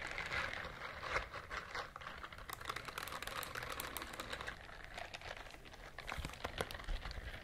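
A pink silicone scrubber glove has its bristles scratched with long nails, giving a dense run of quick, dry, crackling scratches and taps. The sound has bright, crisp highs over a faint low rumble and stays soft and steady throughout.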